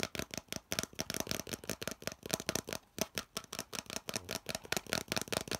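Fingertips rapidly tap and scratch a hollow molded yellow plastic piece held in both hands. The result is a fast, irregular stream of short, dry, bright clicks and scrapes with almost no ring.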